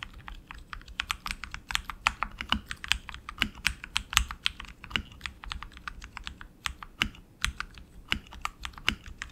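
Both hands type continuously with their fingertips on a tenkeyless RGB HyperX Alloy Origins Core mechanical keyboard with black plastic keycaps, lubed tactile switches and a metal top plate on an aluminum frame, resting on a desk mat. Rapid, uneven streams of short, bright clacks, each with a soft low thud beneath it, die away almost instantly.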